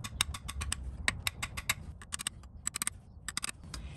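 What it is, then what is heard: Rear main seal not yet seated. Light taps with a brass drift drive a rubber and metal rear main seal into its seal housing on an FJ Cruiser during an automatic transmission replacement. Seventeen quick, bright metallic ticks sound over a low background rumble. The taps sound less solid because the seal is not yet seated flush with the housing.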